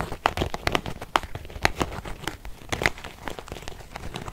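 A small beige quilted faux-leather zip purse with a metal zipper, soft and hollow, is held in both hands and scratched with long painted fingernails. The result is a dense run of dry, crinkly scratching with sharp, bright clicks scattered throughout and a soft, muffled body underneath.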